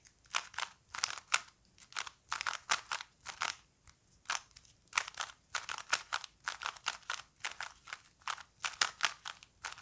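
A small plastic Rubik's cube is held in both hands while fingertips twist its layers, producing a rapid, irregular series of short, dry plastic clicks and crunchy scrapes. The sound is bright and crisp with almost no low end, and each click dies away almost instantly.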